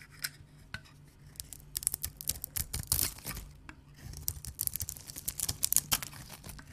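An oval, solid pink embossed dry soap bar is held in the hands and sliced and scraped with a knife blade, exposing its white cut face as shavings fall onto the surface below. The clip is a quiet run of crisp, bright scraping and crackling cuts with sharp clicks that stop instantly, over a faint low steady hum.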